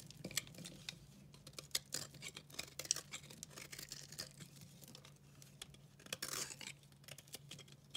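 A multicolor, very dry recycled soap bar is scraped and cut with a utility knife blade. The result is a quiet, bright run of dry crackly scrapes and tiny sharp ticks, with a low steady hum underneath and a slightly longer hissing scrape near the end.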